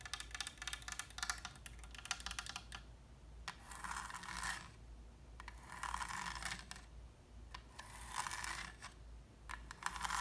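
Long red nails tap quickly and scratch along the ornate gilded wooden frame of a small oil painting with a linen liner, hanging on a wall. Bright, dry clicking taps come first, then three longer hissing scratch passes, with scattered taps between and at the end.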